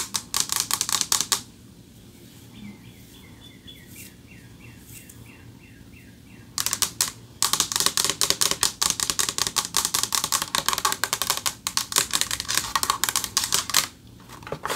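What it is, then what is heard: Metal plaque tapped with fingernails. Fast runs of crisp, high fingernail taps come in bursts, with a quiet pause in the middle where faint birdsong chirps. Each click is bright and brief, with hardly any ring, as expected from a framed metal plaque damped by its mounting.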